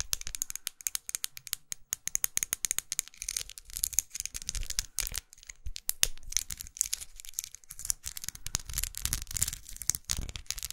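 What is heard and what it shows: Long acrylic nails tap and scratch along the studded surface of a small, closed, red faceted plastic lipstick tube with a dark band, held upright. The result is a dense, continuous stream of quick, bright plastic clicks and scratchy rasps with no ring, mixed with soft low thumps.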